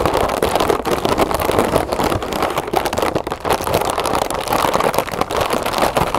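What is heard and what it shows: Long nails scratch and tap rapidly across the crinkly surface of a large, hollow, colorful printed metallic mylar foil birthday balloon. The result is a dense, steady stream of crisp crackling and rustling, centered in the midrange with bright edges. Short ticks keep breaking through without stopping.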